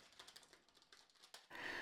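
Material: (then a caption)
Bread crust. A freshly baked potato-spelt toast bread loaf, just taken out of its tin, is knocked on, giving a series of light, quick, hollow taps. The hollow sound shows the loaf is baked through and done. The taps give way to a louder, steady noise at the end.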